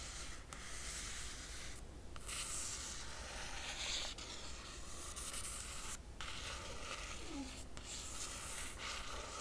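A long nail tip traces over the cover image of a closed hardcover book with a laminated cardboard cover. It makes a steady, bright scratching and rubbing hiss over a constant low hum, broken by a few brief pauses as the nail lifts and moves on.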